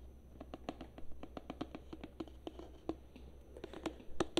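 Long nails tap and scratch a tall plastic hair-conditioner bottle with a green label, held upright, its fill level not visible. A quick, irregular run of short, dry, hollow taps centered low-mid around 340 Hz dies almost instantly, mixed with faint scratching over a steady low hum. The taps grow louder and brighter toward the end.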